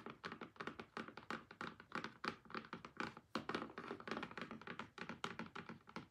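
Long-nailed fingertips rapidly tap the lid of a closed, rigid, hollow pink cardboard album box, then the hands move to tap its sides. About forty quick, irregular hollow thunks, each with a mid-range knock around 1.3 kHz, die away almost instantly, with faint music underneath.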